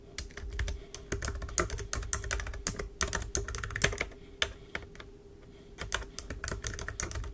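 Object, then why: Plastic computer keyboard. Rapid typing on a black plastic wireless computer keyboard resting on a desk, with keys struck by long pointed acrylic nails and fingertips. Quick, sharp clicks ring out in uneven bursts with a short pause near the middle over a low steady hum.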